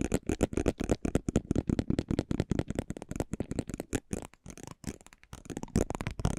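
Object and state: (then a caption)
Cardboard trading card scraped with a metal roller. A small metal pinwheel roller on a handle is rolled and scratched across the glossy surface of a thin, flat cardboard basketball trading card held in the fingers, close to the microphones. It produces a rapid, uneven run of short, dry clicks and scratches with a low, thumpy body and very little high-end. Each tick dies away almost instantly.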